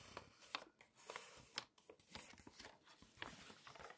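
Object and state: Glossy paper magazine.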